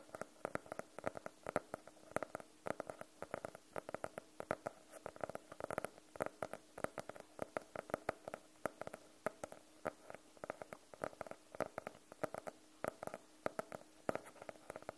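Long nails tap and scratch the cover of a medium blue hardcover notebook, solid and closed, held in both hands. A quiet, steady stream of dozens of short, dry clicks with a midrange tone and almost no ring, spread evenly across the clip.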